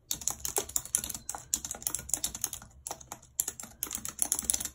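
Long red nails tap the keys of a white plastic computer keyboard while typing. The result is a quick run of bright, crisp clicks and clacks, each dying away almost at once. Short pauses break up the bursts of typing.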